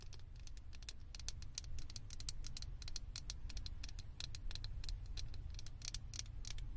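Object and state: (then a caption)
Small plastic figure tapped and scratched with nails. Long acrylic nails rapidly tap and scratch the ears and head of a small, hollow, blue plastic Stitch figure topper mounted on a microphone. The result is a dense stream of sharp, bright clicks and scratchy ticks with almost no ring. A steady low hum runs underneath throughout.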